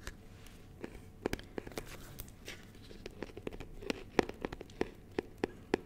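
A small, clear, rigid plastic box filled with honeycomb is moved beside the mic while fingertips tap and scratch its lid and sides. Quiet, soft scratching runs under irregular sharp, dry plastic taps that die away instantly, growing denser and louder toward the end.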